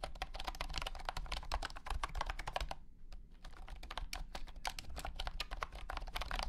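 Fingertips of both hands type rapidly on a compact white and blue plastic wireless keyboard with round hexagonal honeycomb membrane keycaps and a hollow body, resting on a carpeted surface. Dense, short, bright plastic clacks over a low hollow thump follow one another quickly, with a brief pause near the middle before the typing resumes.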